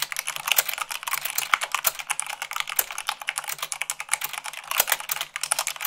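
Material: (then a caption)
Plastic. Fast two-handed typing with fingertips and long nails on white plastic keycaps of a black plastic mechanical keyboard, at 98 words per minute. The result is a dense, steady stream of quick, bright clicks and clacks with almost no ring or low end.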